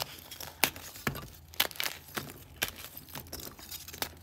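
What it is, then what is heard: Green gym chalk blocks being crushed. Fingertips and thumbs press down on a pile of broken, solid green-dyed gym chalk chunks, crushing and breaking the pieces. Sharp, bright crunches and crumbly crackles come at an irregular pace, each snapping off quickly over a soft gritty rustle.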